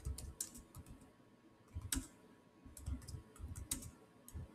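Fingertips type fast on the solid keys of a silver Samsung laptop's black plastic chiclet keyboard. The result is a quick, uneven run of soft, low key thumps topped with short, bright clicks that die away almost at once.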